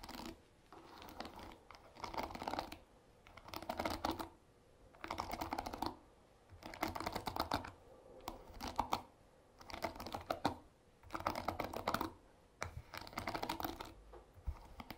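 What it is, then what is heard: Wooden-pin hairbrush strummed. Fingers strum and scratch over the wooden pins of a paddle hairbrush set in a black cushion. Dense, dry clicking and crackling comes in repeated bursts separated by short quiet gaps, centered in the midrange with little low end.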